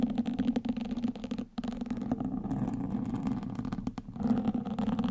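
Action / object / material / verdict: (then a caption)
scrape / foam microphone windscreen scratched with wooden sticks / foam / none. Two wooden sticks, held between fingertips with long nails, scratch the surface of a black foam microphone windscreen. The result is a dense, continuous rough scratching with a steady low-mid tone around 250 Hz, briefly dropping out near the middle and again near the end.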